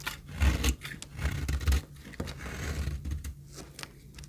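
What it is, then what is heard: Dry soap bar being shaved. A knife shaves the surface of a very dry, solid pink retro soap bar held in hand, cutting it into crumbly flakes. Dry, crunchy scraping strokes come in uneven bursts, with heavy low-end thuds on the louder cuts and quieter rasping between them.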